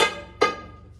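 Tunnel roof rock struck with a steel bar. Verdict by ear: Hollow.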